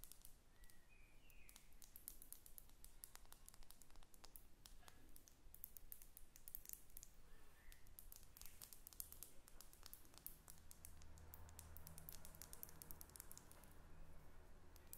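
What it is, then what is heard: Glass perfume bottle tapped with fingernails. A small Gucci perfume bottle with a thick faceted glass body and silver metal cap, hollow and partly filled with liquid, is held in the hands and tapped and scratched with long red acrylic nails. Many quick, sharp clicks and faint scratches sound throughout, with low hum underneath and occasional soft chirping tones.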